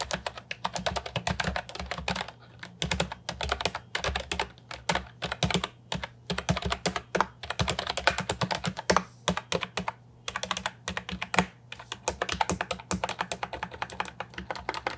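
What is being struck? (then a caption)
Plastic keyboard with round keycaps. A compact Ajazz 308I plastic keyboard with round typewriter-style keycaps, resting on a wooden desk, is typed on with fingertips. It gives rapid, crisp clicky keystrokes in bursts separated by short pauses, with bright clacks over a steady low hum.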